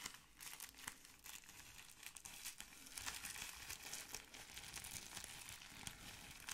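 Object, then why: Plastic bubble wrap sheet. A folded sheet of clear plastic bubble wrap is held close and squeezed and crinkled with both hands. A dense, continuous, bright crinkling and crackling carries on throughout, with sharper snaps scattered in and a faint low rumble underneath.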